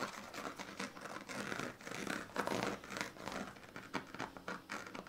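A pink plastic comb is scratched back and forth along the ribbed strips of a woven plastic-strip sleeping mat, partly rolled up on a blue bedsheet. Each stroke gives a dry, raspy, crinkly scratch, mostly in the midrange with some brightness. The strokes come in quick repeated bursts at a fairly quiet level.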